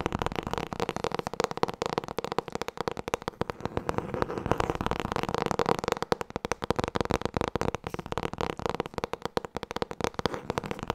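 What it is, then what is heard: Hardcover book. Fast tapping on the hardcover book "Het boek met alle antwoorden." A dense, continuous stream of quick, dry taps runs for about 11 seconds, each dying away almost instantly with a hollow midrange tone around 480 Hz.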